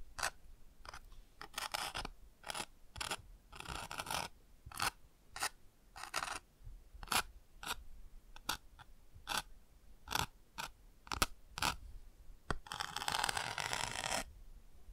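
A thin bamboo ear pick scratches the textured patch on the chick page of an open cardboard board book, over and over. The result is a series of short, dry, bright scratchy strokes, broken by a few longer rasping scrubs, most noticeably a sustained one near the end.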